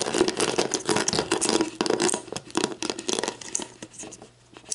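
Long black nails scratch and tap the ridged clear plastic base of a hollow, mostly empty plastic sports drink bottle held bottom-up. A rapid, irregular stream of crisp clicks and bright scratchy crinkles rides over a hollow plastic tone. The taps grow sparser and quieter toward the end.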